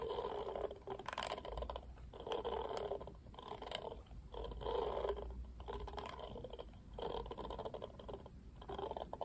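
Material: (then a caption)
Plastic. Fingertips strum and scratch the black plastic bristles of a pink plastic paddle hairbrush. Repeated bursts of dry, crackly scratching come at an uneven pace, centered in the low-mid range with sharp bright clicks. A faint low rumble runs underneath throughout.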